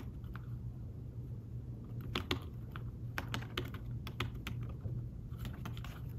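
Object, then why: Fabric-covered tablet keyboard. Fingertips with short nails type quickly on a thin, fabric-covered tablet keyboard case (an iPad-style smart keyboard) lying flat on a table, its shallow keys giving fast, light taps. The clicks are short and dry with bright edges, scattered in quick bursts over a steady low hum.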